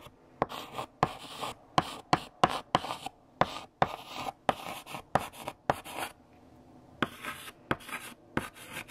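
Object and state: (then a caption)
Chalk writing on a blackboard. A hand writes letters with a pink chalk stick on a large flat black chalkboard, making dry, gritty scratches broken by about seventeen sharp taps as the chalk strikes the surface. The strokes carry a faint squeaky tone around 740 Hz and a bright hiss, and each tap dies away almost instantly.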